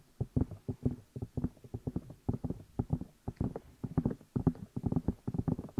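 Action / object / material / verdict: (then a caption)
tap / silicone ear pieces of a binaural microphone / silicone / none. Fingertips tap and rub the two hollow rubber or silicone ear pieces of a black binaural microphone while the hands cup them. The result is a rapid, irregular run of dull, muffled thumps and soft scuffs, heavy in low tones with almost no bright content. Each hit dies away almost instantly.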